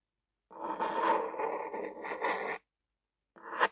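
A lime-green plastic ballpoint pen with a black rubber grip and metal tip is dragged and scribbled across a white paper sheet on a table. A continuous dry scratching runs for about two seconds, followed by a pause and a short, brighter scratch that swells and stops.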